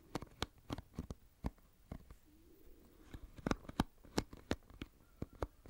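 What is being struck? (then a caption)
Plastic paddle hairbrush with pin bristles. Fingertips and a thumb scratch and flick the pin bristles of an oval plastic paddle hairbrush held sideways close to the microphone. This produces a series of sharp, dry, crackly ticks with quick decays, spread irregularly over a quiet, low background hum. A faint, soft, low tonal murmur drifts in briefly midway through.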